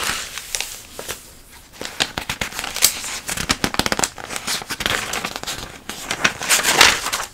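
A flat hand and long nails rub and scratch across the open pages of a thick glossy paper catalog, with some page flipping. Dry, crisp, high crackling scratches and swishes come in quick, irregular bursts, with almost no low end.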